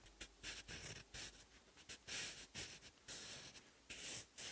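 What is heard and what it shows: A sharpened wooden graphite pencil writes Korean characters on the textured lined paper page of an open notebook. Its point makes quiet, bright, dry scratching strokes in short bursts separated by brief pauses.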